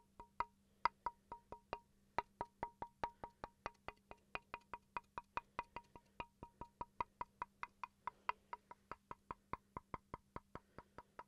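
A small, solid wooden chopping board held at an angle is tapped quickly with a wooden pencil, 48 times. Each tap is a short, dry knock with a clear woody tone near 965 Hz and a bright click on top, dying away almost instantly. The taps come in a fairly steady, brisk rhythm that speeds up slightly after a brief pause near the start.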